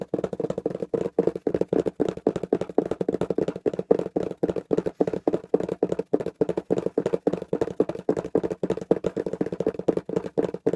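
A small, hollow, taped corrugated cardboard box is held close and tapped quickly on its sides with the fingertips. The result is a steady run of rapid, dry, hollow taps with a mid-range tone around 450 Hz, each dying away almost instantly.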